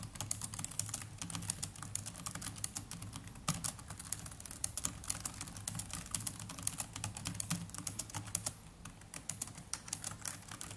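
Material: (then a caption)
Plastic. Both hands type continuously with their fingertips on a small black netbook's plastic chiclet keys. The result is a rapid, steady stream of short, bright clicks and taps over a faint low hum, easing briefly near the 9-second mark before picking back up.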